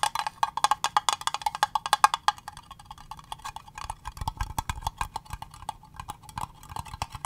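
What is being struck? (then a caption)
Small acrylic plastic box. A small, hollow, clear green acrylic cube box is tapped on its faces with long fingernails in a rapid, steady run of sharp, dry clicks. The hollow, plasticky taps center around 850 Hz and die away almost instantly. They are louder and brighter for the first two seconds, then continue softer and more irregular.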